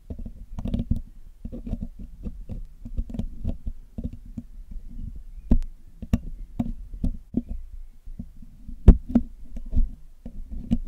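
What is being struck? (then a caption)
Metal mesh microphone grille. The hollow black metal mesh grille of a Blue Yeti microphone is picked and cleaned with metal tweezers and a metal needle pick. The result is a steady run of soft, dull, low-heavy taps and scratchy scrapes, broken by a few sharper, brighter clicks that stop almost instantly.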